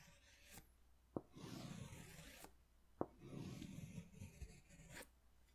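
A green pastel crayon is drawn in long scratching strokes along the bottom of a large white paper sketch pad. Two sharp ticks, as the crayon touches down, each lead into a grainy, rasping stroke with a soft bright hiss. The strokes are quiet and close.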